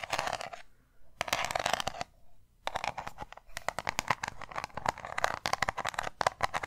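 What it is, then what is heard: Round metal tin. Long nails tap and scratch a small round metal tin with an embossed lid. Two bursts of scratchy, bright rasping at the start are separated by short pauses, then give way to a fast run of crisp, dry taps. The tin gives a light metallic tone that damps almost instantly, with little low end.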